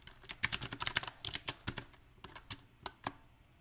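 Fingertips type on a compact backlit mechanical keyboard with round plastic typewriter-style keycaps, making about seventeen short, bright clicks in an uneven rhythm. Each tap is crisp and dies away almost instantly, with quiet gaps between the bursts of keystrokes.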